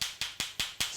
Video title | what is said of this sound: Christmas Eve: Pop's Baccala & Zuppa di Clams E7 | sounds like two um balls that are billiard balls right hard solid not hollow